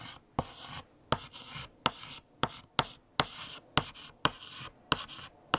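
A hand writes with a blue chalk stick on a large flat black chalkboard. Sharp chalk taps start each stroke and are followed by bright, dry scratching. Ten distinct taps are heard over the clip.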